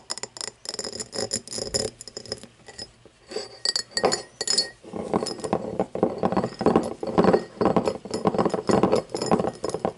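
An empty cut-crystal glass tumbler lying on its side is tapped and scratched along its cut pattern with long fingernails. The result is a busy run of bright clinks and glassy scrapes that ring only briefly. It starts thin and sparse, then turns denser and fuller in the second half.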